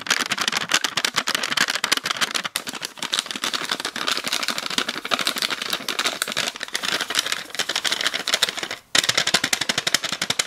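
A small heart-shaped clear plastic tub with purple slime inside is tapped and scratched with long nails in fast, relentless clicks. The sound is bright and dry, with almost no low end and no ring. Two brief gaps break the dense patter, one near 2.5 seconds and one near 9 seconds.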